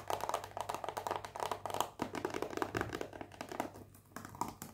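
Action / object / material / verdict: tap / cardboard box in cellophane wrap / cardboard / none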